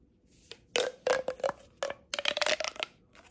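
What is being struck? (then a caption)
Corrugated plastic pop tube. Long painted nails rub and scratch along the ribs of a hollow blue corrugated plastic pop tube held close while it is bent. Irregular bursts of bright, scratchy ribbed clicking and crackling come with a faint hollow tone, bunched closely together toward the end. Each burst stops short, with little ring.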